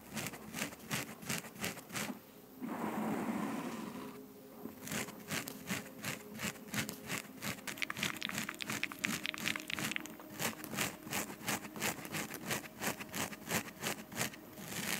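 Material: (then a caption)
Foam. Long acrylic nails of both hands scratch and rub a soft, porous black foam windscreen on a large microphone. The result is a rapid, uneven run of crinkly, bright scratching strokes. Two smoother rushing rubs break up the pattern, one around 2.5–4 seconds and one near 10 seconds.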